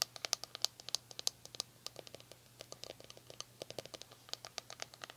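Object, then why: Plastic paddle hairbrush. Long nails scratch the bristles of a red plastic paddle hairbrush, then tap and scratch the smooth, hollow plastic back after the brush is flipped over. About 34 short, dry, bright clicks and scratches come in an irregular, fairly quick patter. A faint steady low hum sits underneath.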